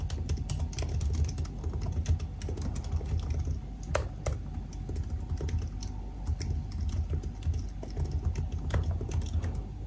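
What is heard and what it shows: Fingertips type steadily on the black plastic keys of a silver aluminium laptop keyboard. The result is a continuous run of quick, soft key taps with short, dry decays over a dull, low-heavy background, with a few sharper clicks standing out.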